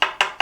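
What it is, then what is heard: Steel window lintel. A screwdriver taps three times on a steel window lintel inside a hole drilled into the wall above a window. Each tap gives a bright metallic "dink" centred near 2.8 kHz that fades quickly, with no low-end thud, confirming the hidden lintel is steel rather than concrete.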